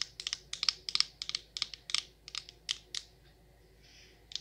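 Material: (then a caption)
Glass, metal. Long nails tap on the perforated metal lid and then the glass side of a glass jar candle full of wax. About 15 sharp, bright clicks come in a quick, irregular run with almost no ring, followed by a quiet pause and one last tap at the end.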